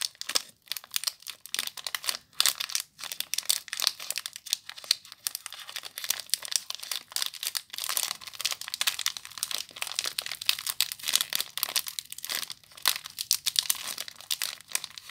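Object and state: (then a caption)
Plastic-wrapped soap bar being crinkled. A small soap bar in clear plastic wrap is crinkled by fingertips and long nails, giving a steady stream of dense, bright crackling and crinkling with sharp snaps. The sound sits almost entirely in the high range, with no low end.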